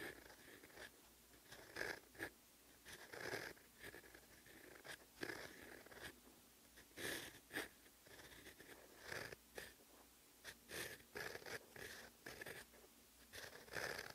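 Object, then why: Steel fountain pen nib on paper notebook page. A fine steel fountain pen nib scratches stroke by stroke across a flat, solid page of lined cream writing paper on a desk, writing Korean characters in close-up. Short, dry, papery scratches come in quick bursts with a thin high squeak near 1.7 kHz and bright hiss above, separated by quiet pauses.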